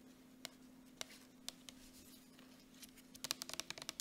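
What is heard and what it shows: Long nails tap quickly along a soft plastic Jergens lotion tube, giving about a dozen sharp, bright clicks. A few taps are spaced apart at first, then a rapid run of taps comes near the end. A faint steady hum sits underneath the quiet clicking.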